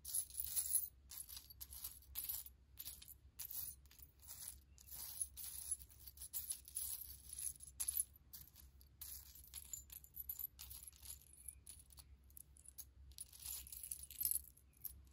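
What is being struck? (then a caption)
Pile of small metal charm pendants. Fingertips with long nails rummage through and spread a pile of many small, solid silver-tone metal charm pendants on a faux fur rug. The charms clink together in dense, quick, bright jingles that come in bursts and die away almost instantly. A steady low hum sits underneath throughout.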